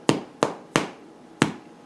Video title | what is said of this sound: Hand Made White Bread Recipe | you can hear that hollow sound it will sound hollow that's the sound that they're done